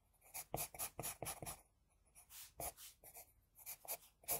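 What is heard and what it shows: An HB pencil scratches across a flat sheet of drawing paper, drawing hair strands. Quick, bright, scratchy strokes come in bursts, some clustered close together and others spaced by short pauses, each ending abruptly.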